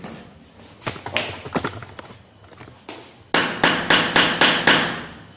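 A laid porcelain floor tile bedded on mortar is knocked at another spot: a few lighter taps, then six sharp, dry knocks in quick succession with a bright, short ring and no low boom. The tile sounds solid, not hollow anywhere, because the mortar on its back was crushed and dragged to fill the whole space beneath it.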